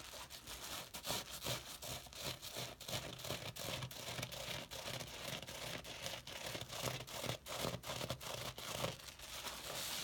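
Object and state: Wet soapy sponge being squeezed.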